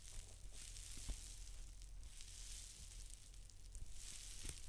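Long dark-painted nails scratch and tap a large white paper towel roll lying on its side. A steady, bright crinkly scratching fills the clip, broken by a few soft taps over a low hum.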